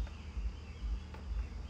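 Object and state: Nothing is struck.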